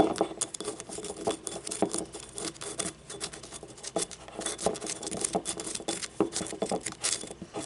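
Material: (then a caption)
Ceramic. Long nails tap quickly on a small hollow yellow ribbed ceramic paint cup lying on its side with its labeled base showing. The result is a rapid, uneven patter of light, bright clicks, each with a brief hollow ring that dies almost at once, mixed with faint scratchy strokes.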